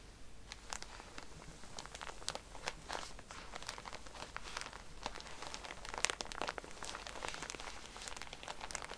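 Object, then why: Cotton pad pack in a thin plastic wrapper. Fingernails scratch a plastic-wrapped pack of cotton pads lying flat, then hands squeeze the pack. Soft, steady crinkling is broken by many sharp, bright ticks and crackles at a low overall level.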